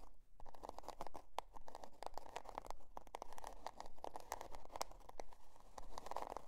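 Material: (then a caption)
Cardboard. Long dark nails scratch the scale-patterned cardboard cover of a spiral-bound notebook resting on faux fur. The result is a quick, uneven run of dry, crunchy scrapes and crackles that center in the mid range, with short bright transients.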